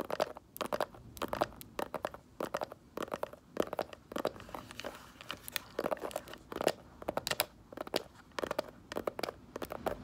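Long nails tap and scratch across the textured front of a small, hollow snakeskin-print faux leather mini handbag. Quick, crisp clicks come in bursts, with a hollow mid-pitched tone and crunchy, crinkly scratches between them. Each tap dies away almost at once.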